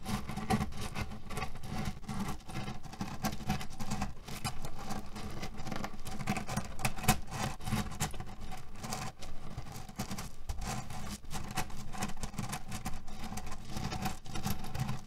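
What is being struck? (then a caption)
Cotton pillow filled with cherry stones. Fingers grab, knead and scratch a cotton fabric pillow filled with cherry stones. The result is a steady, dense rattle and crunch of the pits shifting against each other, heavy in the lows with a faint tonal hum near 215 Hz. Little high-end brightness comes through, and the level stays fairly even throughout.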